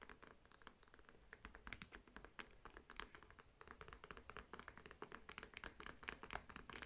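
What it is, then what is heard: Faux leather handbag tapped with nails. Long painted nails tap quickly on a hollow navy faux leather shoulder bag, across its black-and-white striped fabric flap and gold metal clasp. The result is a dense, fast run of short, bright clicks and ticks with almost no low end, each dying away almost instantly.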